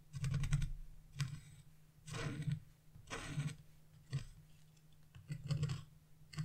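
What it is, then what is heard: Scratching wax-coated scratch-art paper. A narrow chisel, held in fingers with long blue nails, scratches fine lines into the black coating of a wax-coated scratch-art page with a fan-shaped pattern. Short, dry, bright scratching strokes come in separate bursts, with quiet gaps between them. A steady low hum runs underneath throughout.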